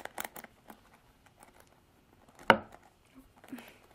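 Long nails scratch and flick the black plastic bristles of a Revlon plastic paddle hairbrush held upright. Soft, dry crinkling scratches patter along quietly, broken by one sharp, bright plastic snap from a flick midway, then a few more light scrapes.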